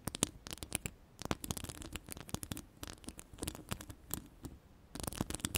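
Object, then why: Woven metal mesh microphone grille. Long purple-yellow ombre acrylic nails scratch and tap across a hollow woven metal mesh microphone grille. The result is a dense, irregular stream of dry, bright clicks and scrapes that die away almost instantly, with brief pauses between flurries and a faint low rumble underneath.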